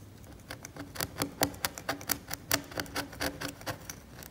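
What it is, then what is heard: Cracked varnish on an oil painting scraped with a blade. A steel scalpel blade scrapes the varnish of a cracked, varnished oil painting on canvas, leaving debris on the surface. It makes a quiet, irregular series of short, dry, bright scratching strokes with little ring and a faint low tone under each stroke.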